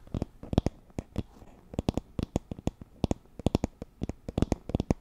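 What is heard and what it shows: Long nails scratch across the wooden pins of a wooden paddle hairbrush with a teal cushion, held near the mic. The result is a rapid, irregular run of short, dry clicks and ticks, each snapping out sharply with almost no ring over a faint low rustle.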